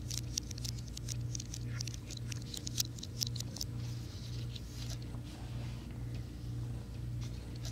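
Fingertips and nails tap the plastic keys of a slim white plastic and aluminum wireless keyboard held flat in both hands. Quick, light, bright clicks patter unevenly over a steady low hum, with the tapping thinning out in the second half.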